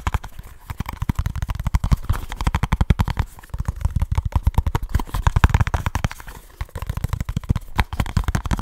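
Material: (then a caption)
Cardboard. A small kraft cardboard box with a barcode sticker is tapped and scratched rapidly with fingertips and short nails close to the mic. The result is a fast, aggressive run of dull, low, hollow thumps with very short decay and a faint papery scratch. The run eases briefly in a couple of spots before picking up again.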